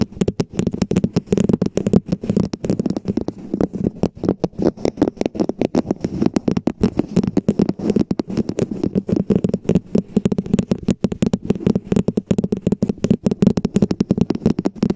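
Long painted fingernails from both hands tap and scratch a hollow red plastic cup-shaped cover with a ribbed base, placed over a foam-covered Blue Yeti microphone. Rapid, dense hollow taps with a low-mid thud and short, dry scratchy clicks continue steadily for the full fifteen seconds, each hit dying away almost instantly.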